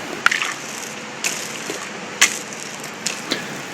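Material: Concrete.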